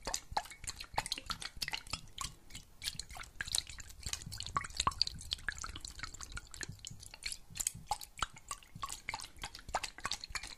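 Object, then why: Glass jar partly filled with water. A clear glass jar, partly filled with water and closed with a metal lid, is tilted and shaken so the water sloshes while fingernails tap on it. Quick, irregular, bright clicks and taps die away almost instantly over a soft, drippy wash of moving water, continuing steadily throughout.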